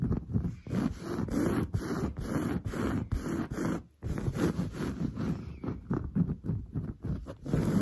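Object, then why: Woven fabric sofa upholstery. Long blue-painted nails on both hands scratch fast across the large, soft, padded grey-brown textured woven fabric of a sofa. The result is a rapid run of dry, rough scratching rasps that sound full and low. There is a brief pause near the midpoint before the scratching picks back up.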